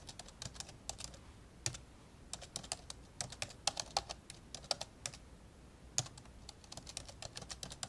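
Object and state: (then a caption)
Plastic laptop keyboard. Keys on an old, dark grey plastic laptop keyboard, with the laptop lying open, are pressed slowly with index fingertips. The result is a steady run of short, bright plastic clicks with almost no ring, set over a quiet background hiss.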